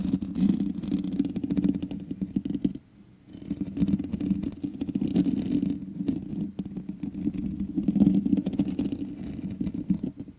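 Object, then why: Metal mesh microphone grille. Long nails scratch the hollow metal mesh head of a black microphone, giving a dense, crackling scrape with a low, boomy rumble beneath. The scratching pauses briefly near the three-second mark, then resumes and continues to the end.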